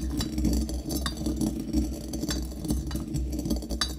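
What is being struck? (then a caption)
Small brass mortar and metal pestle with coffee beans. A metal pestle repeatedly strikes and grinds coffee beans inside a small, hollow brass mortar held in the hand. Bright, short metallic clinks and the rattle of beans rise over a steady low rumble, keeping a fairly even level for the whole clip.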